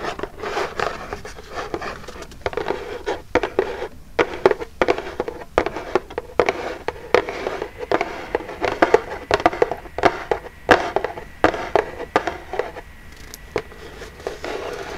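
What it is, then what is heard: Cardboard box tapped with fingernails. Long jeweled nails tap rapidly on the front of a small, hollow, printed Birchbox cardboard box. The taps are dry, hollow clicks that stop instantly with no ring, centered in the mids with bright nail edges and almost no bass. They run in uneven, fast bursts through the whole clip over a quiet background.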